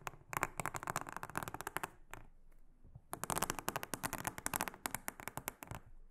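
A small silicone-headed brush brushes and scratches across a large, flat, solid, round blue silicone honeycomb trivet mat. Rapid, crisp crackling strokes come in two busy runs with a brief quieter pause between them. The scratches are bright and dry, with each stroke ending almost instantly.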